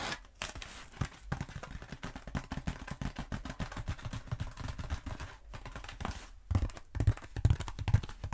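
Long nails rub, scratch and tap the coarse surface of a long black foam roller. The result is a dense run of soft, dull scratching and tapping, mostly low and muffled, with a few louder taps near the end.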